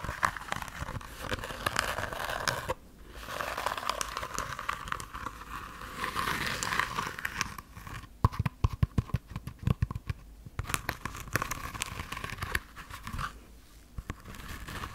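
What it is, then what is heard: Sequin-covered fabric pouch. Long nails scratch the plastic sequins covering a small, soft, red heart-shaped fabric pouch held beside the microphone. The result is a dense, crinkly rasping with sharp clicking ticks, broken by brief quiet pauses near 3 and 13.5 seconds.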